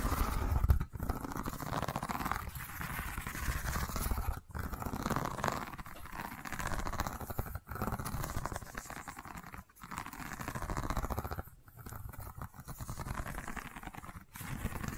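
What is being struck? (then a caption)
Woven rattan wicker tube. Long white-painted nails scratch and tap a long cylindrical tube covered in a tight woven rattan and wicker weave, held upright in one hand. The result is a steady, dense, dry scratching with quick tapping ticks and little ring, broken by a few brief pauses.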